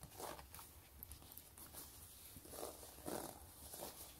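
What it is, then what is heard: Faux leather wallet being scratched. Fingertips and long nails scratch and rub the pebbled faux-leather surface of a long, closed, gray quilted wallet. Soft, bright scratching swells in several brief bursts over a faint, steady hiss.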